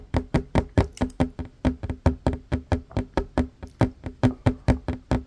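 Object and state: Wooden table.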